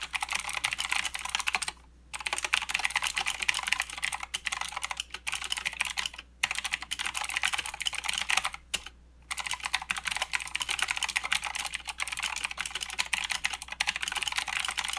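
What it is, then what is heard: Plastic mechanical keyboard being typed on. Fast, continuous typing with the fingertips of both hands on a mechanical keyboard with plastic keycaps and blue switches, producing a dense stream of bright, crisp clicks with almost no low end. Each click is dry and dies away at once, and the typing breaks off briefly a few times, with the longest pause near the middle, before carrying on.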